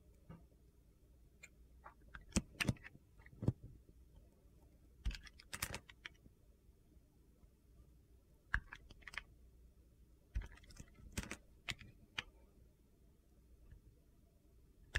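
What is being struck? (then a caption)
Soap bar cut with a knife blade. A solid pale blue Coast soap bar with glitter remnants, held in the hand, is sliced and shaved with a utility knife blade while being carved. Quiet, sharp, crunchy clicks and brief scraping cuts come in irregular bursts over a low, steady background hum. Each cut dies away almost instantly.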